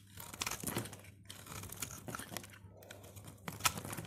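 A utility knife blade cuts and shaves crunchy flakes from the face of a solid, dry purple soap bar held in the fingers. Dry, bright crackling and crunching scrapes come in uneven bursts, with brief pauses between strokes and one sharper crunch near the end.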